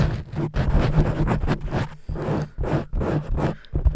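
Long-nailed fingers of both hands scratch and rub the surface of a black foam microphone windscreen, a soft porous cover. The sound is a dense, close, bass-heavy crackling rustle in short bursts with brief gaps, carrying a low muffled rumble and no bright top.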